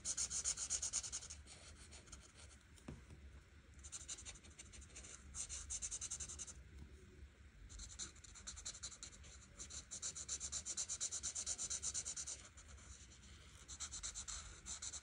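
A marker's felt tip rubs and scratches in repeated back-and-forth strokes across a thin printed paper coloring page lying flat on a table. The sound is a quiet, bright, hissy scratching that comes in bursts of rapid strokes, with short softer pauses between them.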